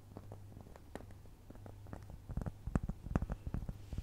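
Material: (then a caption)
Cork. A solid, round, flat cork trivet about the size of a dinner plate is held up close to the mic and scratched and tapped with long nails. The sound is soft, dull and low, with quiet scratching and a low hum underneath. Irregular short taps grow louder and thumpier in the second half.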